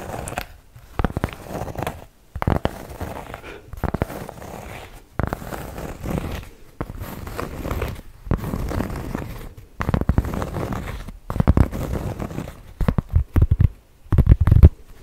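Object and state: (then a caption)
Cork trivet scratched with nails. A large, flat, round solid cork trivet is scratched with long nails close to the mic. Bursts of dry, crackling scratching with a deep low-end rumble are separated by brief silent gaps, getting louder toward the end.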